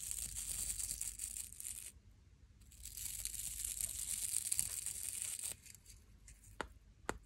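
Long nails scratch the stiff natural bristles of a small wooden nail brush with a solid light wood body, turned in the hand, producing two bright, hissy, crackling bursts of scratching separated by a brief lull. It then settles into quieter rustling punctuated by two sharp, clicky taps on the wooden sides.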